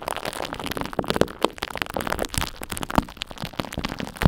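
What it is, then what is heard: Dried glue crust on a microphone. Long white acrylic nails scratch and tap a crusty layer of dried purple glue-stick glue coating the mesh of an egg-shaped microphone, while a glue stick held in the other hand mostly stays off the mic. The result is a dense, close crackling and scratching texture with a fair amount of low rumble, broken by several sharper, short taps that stand out from the scratching.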